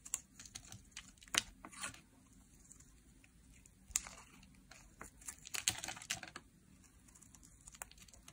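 A solid, translucent pink dry soap bar is held in the hand and shaved with a metal blade, cutting off flakes. Short, dry, bright scraping cuts come in irregular bursts, crisp and high with little low end and almost no ring.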